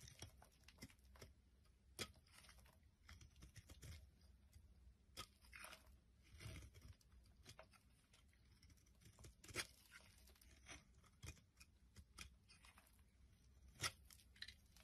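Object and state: Bar soap being carved.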